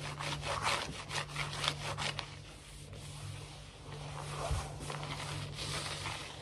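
Fingernails scratch quickly back and forth across a large, solid, glossy wood-look laminate floor. The result is a rapid series of dry, raspy strokes with a bright, hissy texture, over a steady low hum.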